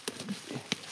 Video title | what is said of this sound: What Our WOODS Tell Us — Ep. 025 | you can hear the resonance in there